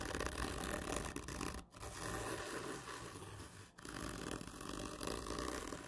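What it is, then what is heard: Cardboard tube. Long painted fingernails scratch over the medal stickers on a black printed cardboard whisky gift tube, which lies on its side, hollow, with a textured surface. Dense, gritty scraping and rasping fill the clip with a low hollow rumble beneath, dipping into two brief pauses before the scratching resumes.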